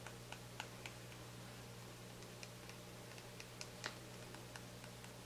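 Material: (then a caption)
Plastic. Fingernails tap and scratch the black cap and body of a small white plastic shampoo bottle held in the hand. Quiet, sharp clicks come at an irregular pace with faint scratching between them, over a steady low hum.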